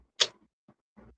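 A container of Purell disinfecting wipes, used to clean crumbs and sauce off a table, is banged once, giving a short, bright ticking knock. The knock dies away almost immediately and is followed by faint, low rustles.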